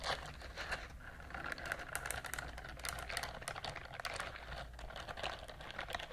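A pink silicone bristled scrubber glove is held close to the microphones and scratched along its bristles with long nails. It makes a steady stream of soft, quick ticking scratches over a low background rumble.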